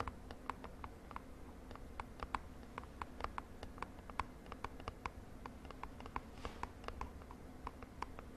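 A small purple printed cardboard cosmetic box, held in the hand, is tapped and scratched with long nails. A steady run of quick, short, dry taps with a hollow click near 1 kHz and faint bright scratches sits over a soft low background hum.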